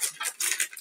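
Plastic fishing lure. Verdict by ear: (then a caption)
Rattling. A second plastic fishing wobbler lure from the same order is shaken, and the rattle balls inside it clatter in five quick, bright bursts centered around 2 kHz. There is no low end and almost no ring, confirming that this lure also rattles.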